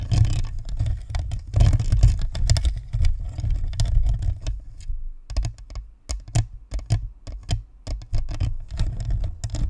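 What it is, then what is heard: Plastic ball microphone tapped with nails. Long nails tap rapidly across the sides and top of a white plastic spherical USB microphone. The result is a dense patter of sharp, bright clicks over a heavy, booming low thump, with short pauses between bursts.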